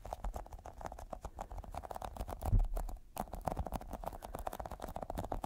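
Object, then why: Small sticky squishy rubber toy ball. A small, solid, yellow sticky squishy rubber toy ball is held in the fingers and tapped and pressed with short fingertips. It makes a rapid run of soft, sticky, muffled taps with a low thudding body. The taps swell into a louder press near the middle, pause briefly, then carry on evenly.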